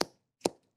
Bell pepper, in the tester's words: you can hear against my mic how crisp that is